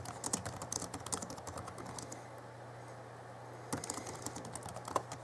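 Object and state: Plastic laptop keyboard being typed on.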